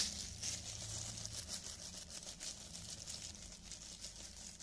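Thin, clear cellophane plastic film gloves are worn on both hands while the fingers flex and rub together, crinkling the film. A steady, bright, papery crackle with quick irregular rustles fills the clip, over a faint low hum.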